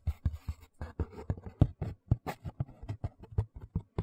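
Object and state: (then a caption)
Cardboard shoe box lid, tapped and scratched. Fingertips and nails scratch and tap the inside of an empty white cardboard shoe box lid with bare brown board, held upright. About 18 short, dull, low thumps come in an uneven rhythm, mixed with soft scratchy rustles. Each tap dies away almost instantly.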